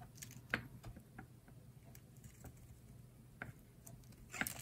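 A solid rectangular green bar of dry soap is held in the hand and shaved at its top edge with a utility knife blade. Short, dry, crisp scraping clicks and flakes with a bright edge sound over a faint low hum, with sharper cuts near the start and end.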